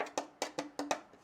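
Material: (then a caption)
Carbon fiber. Five sharp knocks land on the inside of a carbon fiber front upper splitter piece for a BMW M2, a right-side piece that goes into the front bumper. Each knock is a short, dry, mid-pitched tap that dies away almost at once, with faint softer taps at the end.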